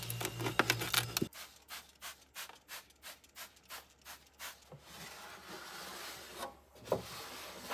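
Inside an empty bedroom mini fridge, a hand sprays cleaner onto the black molded plastic liner, with its ribbed back panel and side walls in a large hollow cabinet, then rubs and wipes it with a pink microfiber cloth. A bright, dense burst opens the clip, followed by nine rhythmic swishing rub strokes. These give way to a steady, airy wiping hiss with one brighter scrape near the end.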